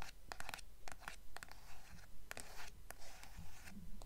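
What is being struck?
Hardcover book with paper dust jacket.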